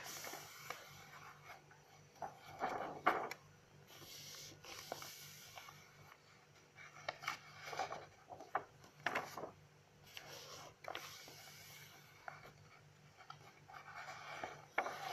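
Long nails catch and turn the pages of an open lined paper notebook, making soft, bright paper rustles and flips. The quiet rustling comes in irregular bursts, with a few sharper crisp snaps as pages fall over, against a faint low background hum.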